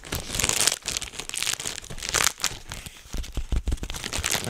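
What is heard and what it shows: A clear plastic bubble wrap sheet, bunched in both hands in front of the microphone, is crumpled and squeezed with the fingers to pop the bubbles. A steady, bright crinkling rustle continues throughout, with short sharp pops and snaps that grow more distinct in the second half.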